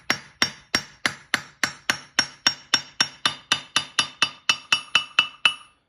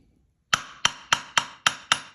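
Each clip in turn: First: A steady run of bright hammer blows on steel, each leaving a thin high ring near 3 kHz. Second: Seven sharp hammer blows on steel give a bright clank whose ring dies away quickly: a magnet-damped anvil.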